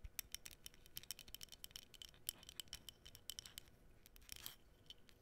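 Long nails scratch and tap across the surface of a small, flat, printed cardboard menorah decoration held close. A rapid, uneven series of dry, bright ticks and scratchy rasps centered around 3 kHz is heard, each cutting off almost instantly with no ring. A quiet, faint hiss sits underneath.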